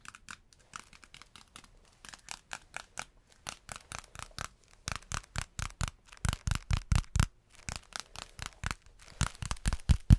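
A thin, stiff, yellow beeswax-coated cloth food wrap is held up and crinkled, scratched and tapped with the fingers close to the microphone. The result is a long run of short, dry crackles and taps at an uneven pace, with quick bright crinkling mixed with soft low thumps. The taps grow louder toward the end.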